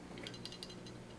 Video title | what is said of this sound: How To Take Apart a Glock Slide. How to put a Glock slide back together. | firing pin should kind of be flopping back and forth in there all on its own